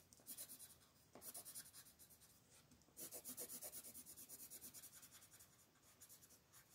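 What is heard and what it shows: A wooden colored pencil makes short, fast scratching strokes near the top edge of the picture on a flat paper page of a farm-scene coloring book, while a hand with long nails holds the page. About sixteen quick, bright, rasping strokes come in three bursts, with soft dry scratching between them and almost no low end.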